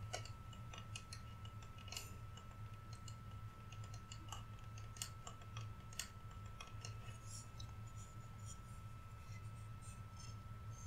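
Fingernails tap quickly and lightly across a large, flat, solid painted wooden Rudolph reindeer cutout held up in both hands. The result is a quiet, continuous stream of short, dry, bright clicks that die away almost instantly, over a steady low hum and a faint constant tone.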